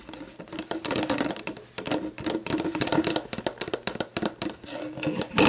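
Long black-painted nails tap and scratch the plastic label and body of a clear, hollow, mostly empty plastic Gatorade Zero bottle, first standing upright and then laid on its side on a wooden table. Rapid, irregular clicky taps mix with brief scratchy rasps, each dying away almost instantly. The taps carry a faint hollow tone near 300 Hz under a bright crackle.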